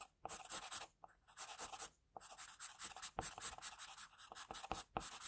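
An HB wooden graphite pencil held in the fingers sketches and shades a face on a flat, thin, solid sheet of white drawing paper resting on a desk. Dry, bright scratching strokes come in quick bursts separated by brief pauses, with almost no low end.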